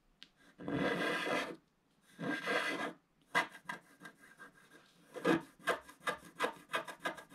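A wooden stick scratches short strokes into a black scratch-art paper page in a book, near the lower right, while the other hand holds the page. Two longer, dry rasping scrapes are followed by a run of quicker, shorter scratches with a bright, papery grain.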